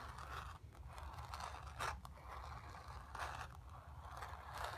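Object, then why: Painted stretched cotton canvas. Long pink nails on both hands scratch the painted surface of a stretched cotton canvas, painted grey with a sphere, about 30 cm square, lying flat on carpet with a drum-like hollow back. Dry, raspy scraping strokes come in uneven bursts, centred in the midrange with a faint high hiss and a soft low hollow rumble underneath.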